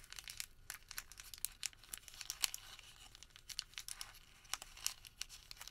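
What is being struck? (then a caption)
Thin thermal paper receipt. A crumpled, thin printed thermal paper receipt is crinkled, partly unfolded and refolded with bare fingertips. A dense run of sharp, bright crackles and small snaps sits almost entirely in the high range, with little low-end body. The loud crinkles stand out against a quiet background.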